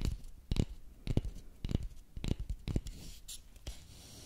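A long, thin, solid wooden dowel lying across two microphones is tapped and scratched with the fingernails of both hands. Dull, low, close-up knocks land at an uneven pace, with soft scratching and rustling between them.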